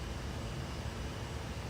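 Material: Nothing is struck.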